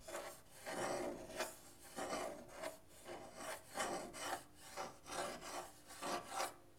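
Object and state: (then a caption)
Painted wooden guitar top. Fingertips and nails scratch and rub the lower painted wood of the soundboard on a half guitar with a thin, hollow wooden body. The result is a series of uneven, raspy strokes with a hollow midrange body and a bright, hissy edge, each swelling and fading quickly.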